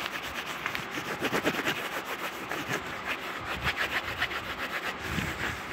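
Soft yellow fleece-like fabric is bunched and rubbed with the hands and fingers close to the microphone. It makes a steady, rustling, scratchy friction hiss with quick rhythmic swishes and a bright, airy texture throughout.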